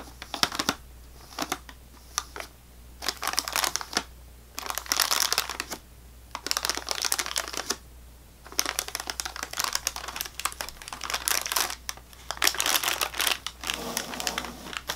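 Fingernails tap and scratch the crinkly plastic wrap of a full sleeve of saltine crackers held in one hand, then both hands scratch at the ends of the sleeve. Bursts of bright, crisp clicking and crackling rustle come in clusters separated by short quiet gaps, with a faint low hum underneath throughout.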